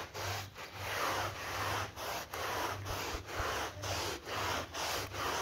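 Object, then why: Synthetic pile rug scrubbed with a bristle brush. A green-gloved hand vigorously scrubs a wet, muddy synthetic pile rug on a terrazzo floor with a yellow bristle brush while the other hand holds the mat. Rhythmic, broadband wet brushing strokes rasp back and forth with brief dips between them, over a faint low hum.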